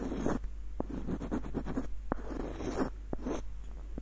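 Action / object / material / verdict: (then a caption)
scrape / wooden screw nutcracker / wood / none. Fingernails scratch along the ribbed threads of the screw and over the body of a small, hollow, light-wood screw nutcracker. The result is a series of quiet, raspy, ridged scratching strokes, broken by a few sharp, dry clicks that die away instantly, over a faint low hum.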